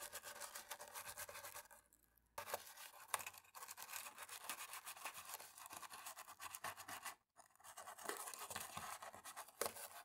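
A cotton-tipped stick scrapes along the gaps of the top row of keys on a black plastic laptop keyboard while the other hand rests on the palm rest. The result is a quiet, bright, dry scratching and rasping with little low end, running almost continuously except for two brief pauses.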